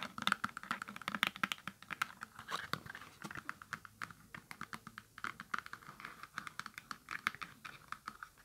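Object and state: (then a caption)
Cardboard box tapped with fingernails. A small, hollow holographic cardboard product box with a hang tab is tapped and scratched with long acrylic nails. The result is a quick, steady stream of dry, crisp clicks centered around 1.6 kHz, with light scratchy texture in between. There is almost no ring and very little low end.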